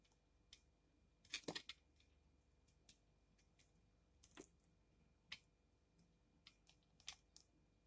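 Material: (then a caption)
Soap. A utility knife blade repeatedly scrapes and cuts shavings off the face of a solid, partly carved pink bar of soap held in the hand. About fifteen short, crisp, bright scraping ticks sound at uneven intervals, the loudest in a quick cluster near the start, each dying away almost at once over a quiet background.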